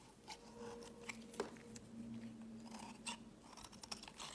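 A metal utility-knife blade scrapes and carves thin curls and flakes from a solid light-blue bar of soap held in the fingers. The sound is quiet, dry and crisp scraping with soft crunches and short, bright clicks as the blade catches, over a faint low steady hum.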